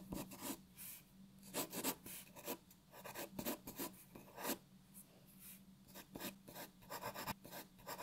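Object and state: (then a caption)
Pencil drawing on paper. A graphite pencil draws details on a white sheet of paper resting on a wooden table, making quiet, dry scratching strokes in short, uneven bursts with bright hiss. A faint steady low hum runs underneath throughout.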